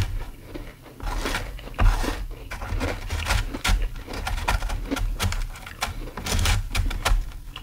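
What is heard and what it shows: Fingertips and nails scratch and dig into a large, flat, solid slab of frosty frozen ice, thicker than expected, that fills a white plastic tray. Irregular bursts of gritty scraping and crunching with bright, crackly edges sit over a steady low rumble. The ice surface is gradually broken up.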